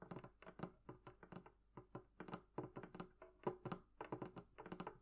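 Long painted nails and fingertips tap the curved wooden lid and sides of a medium, hollow, closed wooden barrel-shaped chest with metal-trimmed bands, resting on a table. A quick, uneven run of light, clicky taps sounds, each with a short hollow knock that dies away almost at once.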